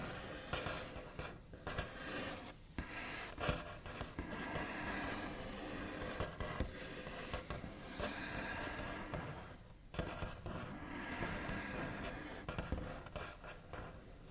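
The backs of the nails of one hand scratch, tap and trace across a large, flat, solid wooden tabletop with a smooth white finish. A steady, dry, scratchy rasp sweeps back and forth, with occasional sharper taps and short pauses between strokes.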